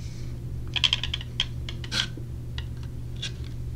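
A small clear plastic clamshell case holding silicone earplugs is held in the hand and tapped and handled with long nails. Sharp, bright clicks and taps ring out around 3.2 kHz, some close together, with a brief scratchy rustle in between, over a steady low hum.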